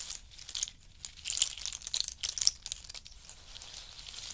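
A heap of in-shell pistachio nuts in hard shells rests on a fur mat while fingers pick up nuts, drop them and stir the pile. Bright, dry clicks and crinkly rattles come in quick clusters, loudest in the first half, then settle into a softer, steady rustle.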